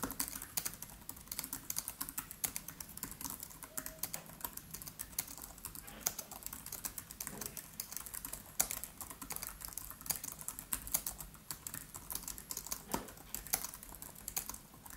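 Both hands type quickly with the fingertips on a MacBook Pro's built-in keyboard, its black plastic keys set in an aluminium body. A steady, dense stream of short, bright clicks and taps continues throughout, each tap dying away almost instantly.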